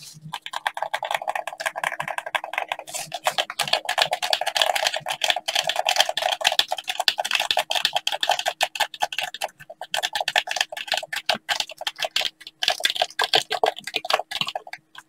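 A hollow black plastic gamepad is tapped and clicked close up by blue latex-gloved fingers. Rapid, dense, dry clicks and taps run throughout with almost no ring, bright and crisp with little low end. A faint steady hum sits underneath.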